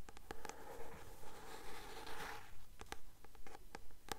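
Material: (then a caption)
Paper. Long nails tap and scratch the glossy card cover of a blue paperback novel held upright. Quiet, crisp taps come in a fairly steady rhythm, with a soft scratching swish in the middle of the clip.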